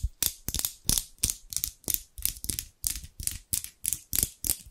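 Large steel scissors with dark handles, held in both hands by someone with long pink nails close to the microphone, are opened and closed again and again so the blades slide and rub against each other. About 16 quick, crisp metallic snips ring out in an uneven rhythm. Each is a bright, airy scrape with a soft low thump underneath, and it stops almost at once.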